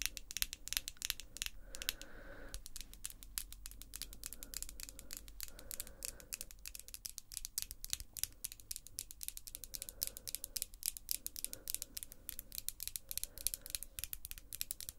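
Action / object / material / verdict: tap / long acrylic fingernails / acrylic / none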